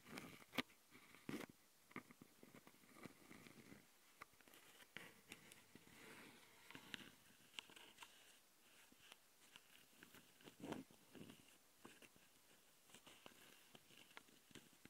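Long dark-painted nails scratch across the metal mesh grille of a Tascam handheld recorder's microphone capsules, which sit on a plastic body. The result is a quiet, close, irregular patter of short, dry scrapes and taps with bright, hissy edges, with a few louder clicks standing out.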